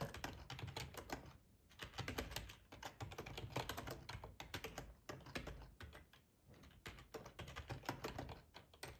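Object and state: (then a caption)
Plastic computer keyboard being typed on. Fingertips of both hands type on a black plastic ergonomic split keyboard, full size, resting on a cloth tablecloth. Quick, steady runs of soft clicking keystrokes carry a muffled low thump, with short lulls near 1.5 and 6.3 seconds before the typing resumes.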